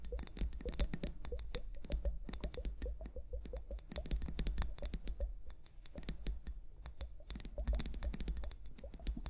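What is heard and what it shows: A small, hollow, clear plastic liquid hourglass filled with liquid and clear beads is held upright on fur and tapped and scratched with long painted nails. The result is a rapid, dense patter of short, dry clicks and scratches with bright, crisp tops, over a steady low hum throughout.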